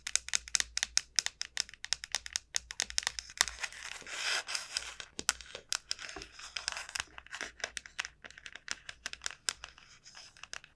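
Long nails tap and scratch the shell of a large, hollow dried gourd. Rapid, crisp, bright clicks run throughout the clip, with a denser scratchy rasp in the middle before the quick tapping resumes. Each tap is dry and short, with almost no ring.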